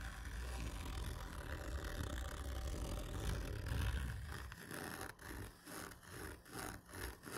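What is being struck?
Cardboard tube.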